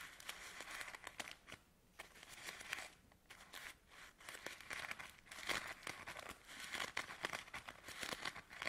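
A fanned bundle of filled camomile tea sachets in thin paper is held in one hand while fingertips and medium nails riffle through and crinkle the paper edges, then squeeze the bundle. Dense, bright, papery crinkling comes in quick bursts of sharp, short ticks, with brief near-silent pauses around the second and third seconds. The crackling grows fuller and busier toward the end.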